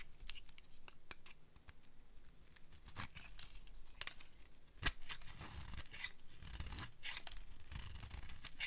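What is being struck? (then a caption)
Bar of soap scraped with a metal blade. A metal blade carves and scrapes a solid rectangular bar of dry beige soap held in the hand, shaving thin curls off it. Dry, scratchy scraping and crisp cutting strokes repeat throughout, with one sharper snap near the middle. The sound is close and soft, with low rumble underneath and bright, brittle edges on each stroke.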